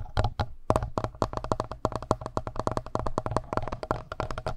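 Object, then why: Plastic handheld recorder body. Fingertips and short nails tap and scratch the front face and buttons of a black plastic Tascam handheld recorder, which has a hollow body and X/Y mic capsules on top. A rapid, uneven series of dull, hollow taps rings with a faint tone around 630 Hz and heavy low-end weight. Each tap dies out almost instantly, with light scratching between them.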